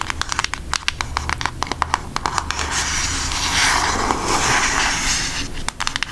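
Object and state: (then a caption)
Cardboard makeup palette. A flat, rectangular, book-sized cardboard eyeshadow palette with a Hershey's milk chocolate design, hollow and thin, is held up and tapped and scratched with long almond-shaped acrylic nails. Sharp, bright clicking taps come in quick irregular bursts at the start and end. In the middle they give way to a steady dry scratching rasp.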